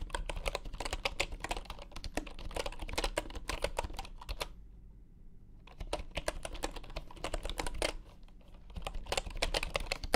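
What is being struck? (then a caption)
Bamboo computer keyboard. Fingertips type fast on a full-size bamboo wooden computer keyboard resting on a grey mat. The result is a dense run of crisp, clacky keystrokes with a brief pause around the middle before the typing resumes.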